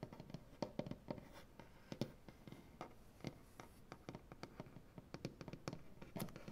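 Both hands with long black-painted nails tap and scratch across a large solid maple butcher block tabletop. A rapid, irregular series of short, dry taps with a low wooden thud is heard, with soft scratching rasp between them. The taps stop dead with no ring.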